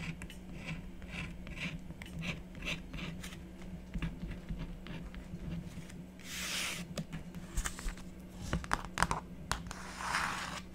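A stylus scratches the coating of a black-coated scratch art board with a run of short, bright scraping strokes over a steady low hum. Long-nailed fingers then rest on the surface and rub it, producing broader, softer hissing swells mixed with sharper scratches.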